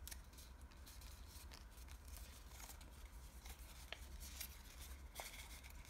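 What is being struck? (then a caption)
Thin washi paper origami model. Fingertips fold, crease and rub the edges of a small layered origami model made of thin green patterned Japanese washi paper. Soft, dry paper rustles and crinkles run throughout, punctuated by brief crisp ticks and brighter scraping swishes. A steady low hum sits underneath.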